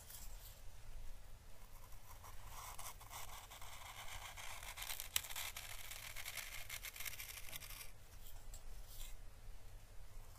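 An orange dried Chinese lantern (physalis) husk, a papery hollow shell held in the fingers, is slowly brushed with a thin paintbrush. Soft, dry, papery scratching and hissy brushing strokes rise and fall at a quiet level, with faint crackles, one sharp tick partway through, and a steady low rumble underneath.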